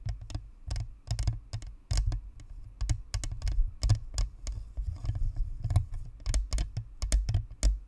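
A white spherical Blue Snowball USB microphone, a hollow plastic shell with a perforated metal grille resting on a stand, is tapped rapidly by the long manicured nails of both hands. The result is a fast, irregular patter of short, dry clicks with bright tips over a deep, boomy low thump that fills the mic.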